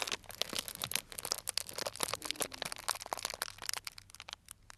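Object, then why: Clear cellophane bag filled with dried tea pieces. A small, tied, clear plastic cellophane bag full of dried tea pieces is pinched and crinkled with fingertips. The result is a dense run of crisp, bright crackles and crunches with very little low end. The crackles fade toward the end.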